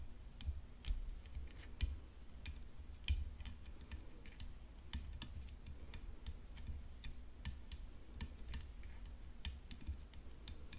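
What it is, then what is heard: Composite tennis racket frame tapped with nails. Long nails tap and drum on the hollow composite frame of a rhinestone-decorated tennis racket resting on black cloth. Quiet, crisp clicks arrive in an irregular patter over a steady low rumble and a faint high tone. Each tap is dry and dies away almost at once.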